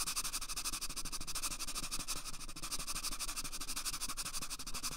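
Fingertips rapidly rub and scratch along the length of an empty, hollow brown cardboard toilet paper tube held at a microphone ear. The result is a steady, dense stream of quick, dry scratching strokes with a bright, hissy texture and a faint low rumble beneath.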